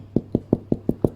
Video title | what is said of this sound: Hand Made Bread the easy way. BREAD MAKING | it should sound hollow that's how you know it's ready